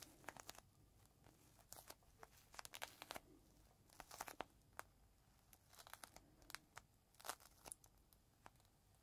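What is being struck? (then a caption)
Thin plastic bag holding a folded microfiber cloth. Fingertips squeeze and crinkle a small, thin, clear plastic bag holding a folded green microfiber cloth, held close to the mic. The result is a quiet, steady run of sharp, bright crackles and crinkles in irregular bursts over a soft hiss.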